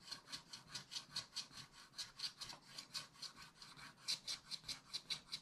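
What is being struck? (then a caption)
Coated scratch-art paper scraped with a wooden stylus. A wooden stylus scrapes vigorous strokes across the upper middle of a black coated scratch-art paper page in a spiral book. About 22 quick, separate scratching strokes follow one another in a brisk, uneven rhythm, each a bright, dry, high rasp with almost no low end. The sound is quiet overall.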